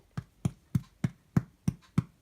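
A loaf of no-knead Italian bread is tapped on its crust after 30 minutes in the oven to check if it is done. Eight short, dull, low thuds sound at a steady pace with almost no ring. The loaf sounds hollow, so it is baked through.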